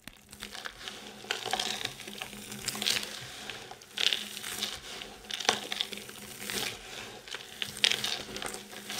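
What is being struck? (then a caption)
Pile of soap shavings. Hands scoop up a fine, crumbly pile of multicoloured dry soap shavings, squeeze it and let it crumble back down. The result is a steady, bright crunching and crinkling with sharper crackling bursts every second or so.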